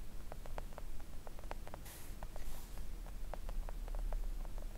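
Long coffin-shaped press-on nails tap a flat, thin, solid pink silicone nail art mat lying on a table. Soft, quick clicky ticks scatter irregularly over a steady low rumble, with a brief hissy swish near the middle.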